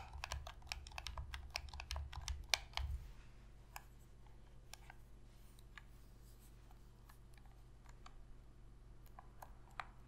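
Long nails tap quickly on a hollow black plastic Sony PS3 controller, giving a dense run of sharp, bright clicks over a low rumble. The controller is then turned over and its buttons are pressed, leaving sparser, quieter clicks that stop short with no ring.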